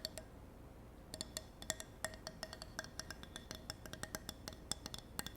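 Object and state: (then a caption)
Wooden block. A handmade wooden block, made by a grandfather, is tapped in a quick, uneven run of light, dry clicks. The clicks carry a hollow tone near 640 Hz with almost no ring, with a short pause after the first couple of taps. The tapping sounds like a horse's clip-clop.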